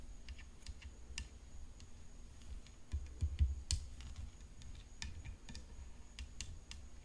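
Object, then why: Graphite composite tennis racket frame. Long fingernails tap on the hollow frame of a graphite composite tennis racket decorated with rhinestones. The result is a quiet, irregular run of light, dry clicks with short bright ticks over a low, soft rumble. A few taps land louder near the middle.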